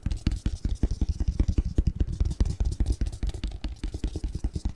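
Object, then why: Cardboard box lid. Fingertips and nails scratch and tap the edges and face of a hollow printed cardboard box lid with a snowman and Christmas tree design, held upright. A rapid, irregular run of dull, low, hollow taps and short scratches is heard, each dying away almost instantly with little brightness.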